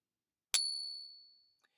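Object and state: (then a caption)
Genuine silver round. A silver Krugerrand round sitting in a pocket pinger coin tester is struck once with the stick, giving a bright, high ring that fades over about a second, followed by a faint tick. The ring is judged genuine silver, though a little flat, which is how Krugerrands are designed to sound.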